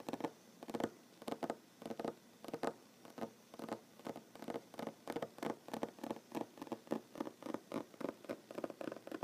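Short fingernails on both hands tap rapidly on a large solid wooden tabletop. Quiet, dry clicks come in quick, irregular clusters, each a soft, hollow-sounding knock with almost no ring. Steady bursts of patter continue throughout the clip.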